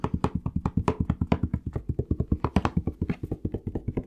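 Fast fingertip tapping on a plastic Palmolive shower gel bottle produces a steady stream of short, dry, hollow taps. The taps are mostly low and thuddy, with a pitch near 190 Hz and bright clicky edges on some strikes. About 37 separate hits are heard over four seconds, each dying out almost instantly.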